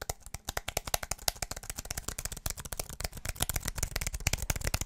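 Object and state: Aluminum and plastic wireless keyboard.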